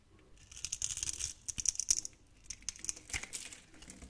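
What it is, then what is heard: Soap bar being carved. A utility knife blade carves thin slices from a solid, hand-sized, scored pink opaque soap bar. It makes soft, crisp, bright scraping and crackling bursts in a few clusters, with almost no low end and a quick, dry decay.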